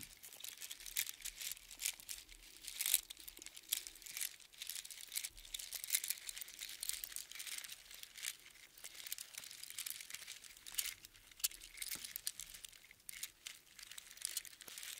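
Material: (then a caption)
Shell. A heap of small hollow spiral seashells strung on a string is held in both palms and shaken and squeezed, so the shells clatter together. The result is a quiet, continuous stream of dense, bright, crinkly clicks and rattles with almost no low end, swelling and easing across the clip.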